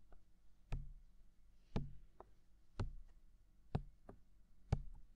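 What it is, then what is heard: Silicone microphone ear being tapped. Fingertips tap a hollow, mounted white silicone ear of a binaural microphone, giving eight soft, dull knocks at an uneven pace of about one per second. Each tap is a short, deep thump with almost no ring, and some land louder than others.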